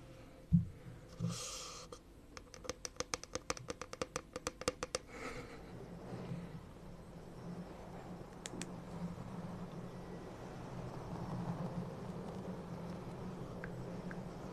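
A frosted green plastic drinking cup, hollow and empty, is held upside down over the microphone and tapped with long painted nails. A couple of louder knocks lead into a quick run of light, sharp clicks that die away almost instantly. A low, hollow hum and soft rustling texture continue under the rest of the clip.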